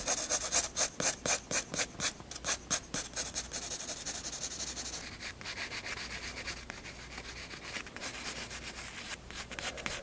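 A graphite pencil shades with rubbing strokes across the flat white paper page of a spiral sketchbook. Quick, bright, scratchy swishes come in a steady rhythm for the first few seconds, then blend into a denser, continuous rasp of softer back-and-forth strokes.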